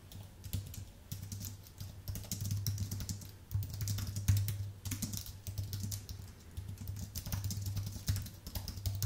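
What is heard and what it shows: Fingertips type steadily on a white Apple full-size keyboard with an aluminium base and plastic keys, producing a quick run of soft, bright key clicks and taps. A steady low hum sits underneath throughout, and the hands move off the keys at the end.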